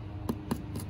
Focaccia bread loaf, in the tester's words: thump the bottom, you hear that nice hollow sound. That lets you know that it's done.